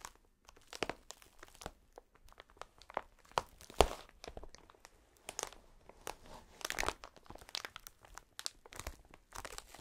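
A clear plastic sheet of inflated air-cushion packaging with thin, hollow air-filled chambers is held against the chest and pressed and rubbed with fingertips and palms in fingerless gloves. Dense, irregular crinkling and crunching fills the clip, with sharp broadband crackles reaching bright highs over a soft, quiet background.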